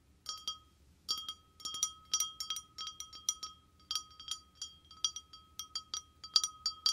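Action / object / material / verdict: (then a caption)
tap / glass wine glass / glass / none. An empty, hollow, clear glass wine glass is held in hand and tapped quickly with short painted fingernails close to the microphone. Bright, glassy clinks come in rapid bursts, each with a short ring that sustains a steady mid-high tone around 1.2 kHz under higher overtones.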